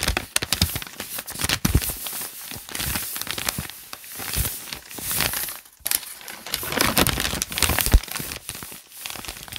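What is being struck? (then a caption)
Paper notebook pages. Flat hands and fingertips rub and crinkle the crumpled, lined white paper pages of a thick open notebook. The result is a dense, continuous stream of bright crackling and rustling with soft low thumps, swelling and easing in waves across about ten seconds.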